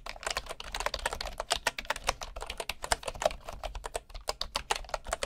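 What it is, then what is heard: Bamboo wooden keyboard typing. Fingertips type steadily on a bamboo wooden keyboard, producing a fast, dense stream of short, dry clicks and taps. Each keystroke is crisp, with a woody midrange knock and a bright top, and it dies away almost instantly.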